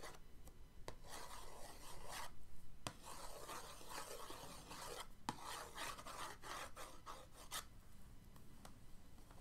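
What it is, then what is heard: Cardboard box being scratched. The end of an orange paintbrush traces lines across the lid of a printed cardboard paint-set box. It makes quiet, dry scratching and rubbing strokes in uneven bursts, broken by a few sharp ticks.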